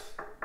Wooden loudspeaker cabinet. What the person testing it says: c'est ça sonne vraiment plein